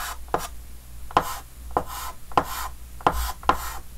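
A red chalk stick held in the hand taps and scratches short strokes across the surface of a large, flat, dark green wooden-framed chalkboard. Each tap lands as a sharp, brief click with a dry tone around 1 kHz, followed by a soft, bright, scratchy rasp of the chalk dragging, over a faint low hum.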